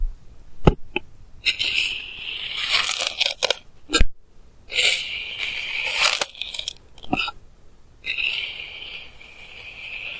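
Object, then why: Kinetic sand cut with a plastic knife. A clear plastic knife edge cuts repeated lines through a flattened mound of pink kinetic sand, producing bright, hissy scraping strokes in several longer passes. Sharp, brief clicks and taps break up the quieter gaps between the strokes.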